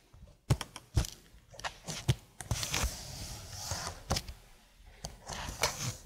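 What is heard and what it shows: A slim black plastic keyboard, held at an angle, is tapped slowly on its keys with long blue nails. The result is a series of sharp, clicky taps with short decay and a bright, crisp edge over a soft low thump, separated by quiet pauses.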